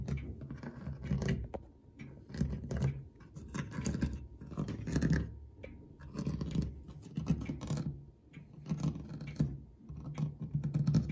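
Fingertips with short nails scratch and quickly tap the ornate cast brass corner ornaments and the brushed flat metal dial plate of a clock dial set in its wooden case. Dry, rasping scratches come in bursts, mixed with rapid light taps that die away almost instantly. The sound is mostly low and dull, with only faint bright edges.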